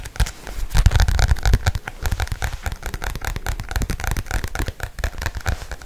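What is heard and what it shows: Fingernails tap and scratch fast on the glossy cover of a black paperback book held close to the mic. The result is a dense, rapid stream of dry clicks and crackly scrapes over a low, thumpy body, busiest in the first second and a half.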